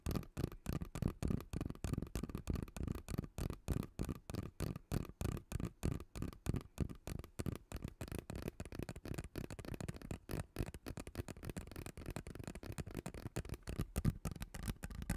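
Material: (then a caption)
Plastic. Fingernails scratch along the ridges of a hollow purple ribbed plastic pop tube held in both hands. The result is a fast, uneven series of short, dull, low-pitched rasps with almost no ring and little high-end brightness.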